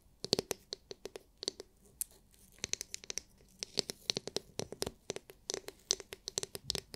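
Long nails scratch and tap the hard, clear, glitter-filled plastic dome of a palm-sized oval massage brush. The result is a rapid, uneven run of sharp, bright clicks and scratchy strokes with a faint hollow tone around 400 Hz. Each hit dies out instantly with no ring, over a quiet background.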